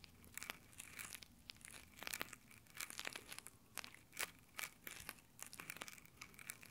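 Fingertips in rough nylon exfoliating gloves scratch and rub over the top microphone grille of a small Tascam handheld recorder. Dense, bright, crackly scratching comes in quick bursts of sharp rasps with almost no low end and no ring, like close-up crinkling and tearing.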